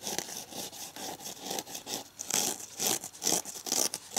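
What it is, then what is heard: Kitchen sponge scouring pad scratched. Fingernails scratch quickly along the green abrasive scouring side of a red foam kitchen sponge held upright. Fast, bright, rough scraping strokes repeat at a brisk, somewhat uneven pace, with energy mostly high and almost no low end.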